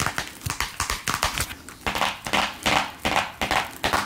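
Long acrylic nails tap on a small, hollow printed cardboard box holding a vintage card deck, held in sequined fingerless-gloved hands. The taps come as quick, uneven light clicks with a hollow, papery knock and a bright edge, each dying away almost at once.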